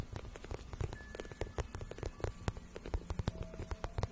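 Long nails scratch a glossy pink patent vinyl boot shaft, soft and hollow, making a quick run of dry scrapes and taps. Each sharp, brief stroke dies almost instantly, while a low, hollow thump from the shaft carries much of the sound beneath faint bright edges.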